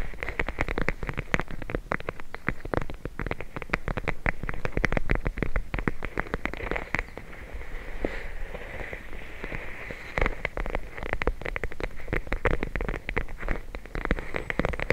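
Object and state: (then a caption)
Plastic bag of gel beads. A clear plastic bag full of teal gel beads is held in the hands and tapped and scratched with long nails. Rapid, dense crackling taps and rustling scratches run throughout, with a thick low end and a steady midrange sheen, easing into softer scratching in the middle before the quick tapping picks back up.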